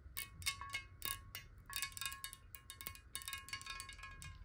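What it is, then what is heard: Glass water bottle tapped with nails. Long nails tap quickly and irregularly on a clear, hollow glass water bottle that is partly filled with water and held horizontally. Each tap gives a short, bright clink with a ringing tone near 2.2 kHz and a steady lower ring around 1.1 kHz. The taps sound over a faint low rumble.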